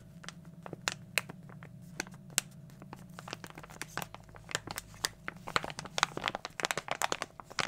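A small glossy plastic foil toy blind bag is crinkled with the fingertips and squeezed in both hands. Sharp, bright crackles and crinkles come in quick bursts over a low steady hum, sparse at first and then denser and louder toward the end.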